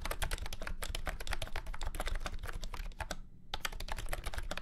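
Fast fingertip typing on a full-size beige and orange plastic retro keyboard with round keycaps and a hollow body, resting on a felt mat. Dense, rapid clicky keystrokes with a deep, hollow low thump under bright clacks continue steadily, pausing briefly a little past the three-second mark before resuming.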